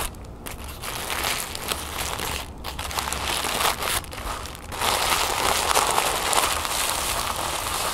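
Thin orange-copper tissue paper, folded flat on a wooden table, is crinkled and scratched with long painted nails and fingertips. A steady, bright crinkling and crackling rustle runs throughout, with brief quieter gaps before it grows denser and louder in the second half.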